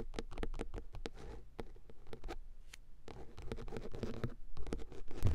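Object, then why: Padded fabric-covered car armrest. Long acrylic nails tap and scratch a padded centre car armrest covered in grey woven fabric. Quick, irregular, dull taps mix with soft scratchy rubbing on the fabric. Each tap is muffled and low, dying away almost at once.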